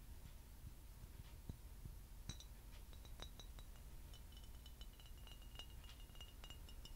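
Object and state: Empty glass bottle.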